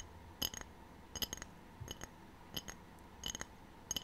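A ceramic tray is tapped in six short bursts, giving bright, glassy clinks with a ringing tone near 3 kHz that die away almost at once. The taps sit over a quiet, steady background.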